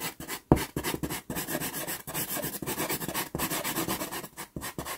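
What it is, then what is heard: Pastel pencil scratching on sanded pastel paper. A wooden pastel pencil is rubbed and scratched along the lower part of a drawing on a small taped sheet of sanded pastel card (Pastelmat). A rapid series of short, gritty strokes produces a dry, bright, rasping scratch with brief pauses between them.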